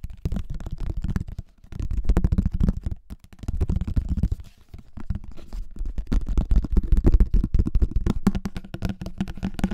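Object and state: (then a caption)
Plastic flying disc. An empty pink plastic flying disc with a hollow underside, held in both hands in front of the microphone, is tapped and scratched on its rim and underside with fingertips and nails. The result is dense, fast bursts of dull, bass-heavy thumps mixed with soft scratching. Each hit dies almost instantly, with brief pauses between the bursts.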